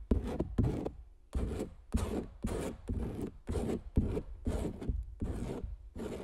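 The tip of a palette knife scratches lines into the coated surface of a large stretched canvas print with a recorder lying on it. It makes a series of short, dry scratching strokes with gaps between them, each carrying a low, rubbing thump through the canvas and a faint bright hiss on top.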